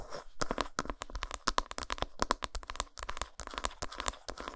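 Long nails tap and scratch quickly on the flat back side of an unwrapped, solid dark chocolate bar. A dense run of dry, crisp clicks and brief scratchy rasps, each stopping instantly with no ring, carries a faint tone near 1 kHz.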